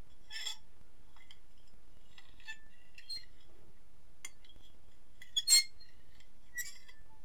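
A metal fork scratches and clinks across the face of an empty, medium-sized white ceramic dinner plate held tilted in one hand. Soft, scattered scraping is broken by brief, bright metallic clinks that ring high and fade quickly. The loudest clink comes about three-quarters of the way through, over a quiet, steady low background.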